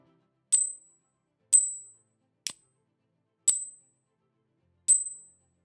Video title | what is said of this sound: Silver & Coin Shopping SAFETY! 🛡️💰 How to tell REAL vs FAKE Coins! 🔍 #SilverSafetyTips #Numismatica | this thing sounds like a cheap piece of tin